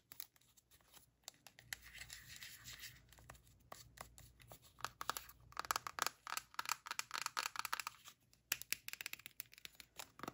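Long painted nails tap and scratch the label side of a hand-sized white plastic skincare cream tub, hollow and closed with a lid, as it is turned in the hands. The sound is quiet, bright, crackly scratching mixed with quick dry taps, coming in dense bursts with brief pauses between them.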